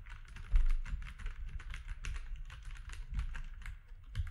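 Fingertips of both hands type on a compact mechanical keyboard with grey, white and orange plastic keycaps. A steady run of quick, clacky keystrokes blends together, each with a bright click over a low thump. A few strikes land louder than the rest.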